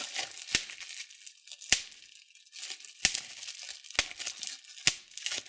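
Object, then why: Plastic bubble wrap. Thumbs and fingertips pinch clear plastic bubble wrap, popping single bubbles one at a time. Five sharp, bright pops stand out with a very short ring, separated by a steady high crinkling and rustling of the plastic sheet.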